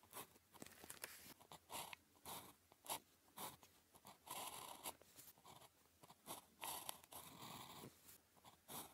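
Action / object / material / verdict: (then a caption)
scrape / ballpoint pen on a thin paper sheet / paper / none. The tip of a blue plastic ballpoint pen, held in the fingers, writes on a thin grid-printed paper calligraphy practice sheet lying flat on a desk. Quiet, bright scratching strokes come in a steady run of short bursts with brief pauses between them, and no ring-out after each stroke.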